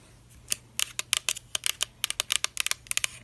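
Long black acrylic nails tap along the body of a medium-size translucent pink Soo'Ae Rose Mist plastic spray bottle with a black cap, hollow and partly filled with liquid. The result is a quick, irregular run of sharp, bright clicks with almost no ring and little low end, set against a faint steady background hum.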